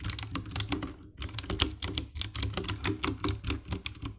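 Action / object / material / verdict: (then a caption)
tap / plastic mechanical keyboard keys / plastic / none. Long-nailed fingertips type on the keycaps of a compact 60% black plastic mechanical keyboard with an RGB backlight. A quick run of bright, clicky key taps with a low thocky body pauses briefly around the one-second mark, then resumes in a steady tapping rhythm.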